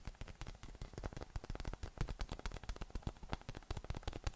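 A hollow, air-filled yellow inflatable PVC massage ball with nubs is held in one hand and tapped and patted with fingertips and flat fingers. This produces a quick, uneven stream of soft, dull thumps that are mostly low in tone with faint bright clicks. Each tap dies away almost at once.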